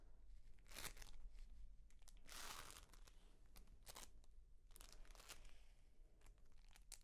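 A hand-sized, pale green clump of dried reindeer moss, airy and brittle, is held in both hands and squeezed and rubbed with long nails and fingertips. It gives off dry, brittle crunching and crinkling in irregular bursts, with bright, sharp crackles over a low, steady hum.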